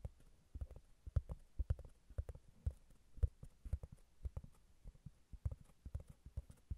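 Long nails tap and scratch a flat, solid round cork disc that is held and then set on a Tascam recorder. About twenty soft, dull, low thuds come in an uneven rhythm, each dying away almost at once, with faint scratchy texture between them.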